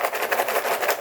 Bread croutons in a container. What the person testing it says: hear how crispy they got